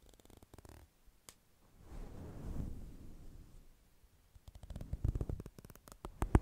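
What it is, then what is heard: Faux fur microphone windscreen being combed. A thin black plastic comb scratches and combs through a fluffy grey-white synthetic fur microphone windscreen, and by the end both hands hold the fur while the comb scratches its side. The sound is low and muffled: faint ticking scratches first, then a soft swelling rumble of combing through the fur. It ends in clusters of sharper, louder scratching bursts.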